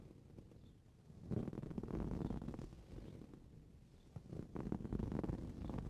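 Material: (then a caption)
Fabric. Short blue-painted fingernails on both hands scratch the surface of a soft, filled green coarse-weave fabric cushion lying on a purple towel, ending with the hands resting flat on it. The sound is a quiet, dull, low rustling scratch that swells into two denser, louder bursts before easing off.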